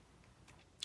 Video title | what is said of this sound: Quick eyelook using liquid eyeshadow | when you are shaking so you know you are really shaking your product